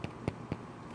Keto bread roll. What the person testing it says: you turn them over tap on it and you hear a hollow sound that's when they're done